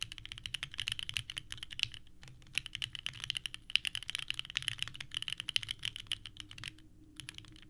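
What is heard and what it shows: Both hands type continuously with their fingertips on a small 65% mechanical keyboard with a purple case and white ABS keycaps, resting on a desk mat. The result is a steady stream of sharp, bright, clacky key presses with very short decay. Brief pauses come near 2 and 7 seconds.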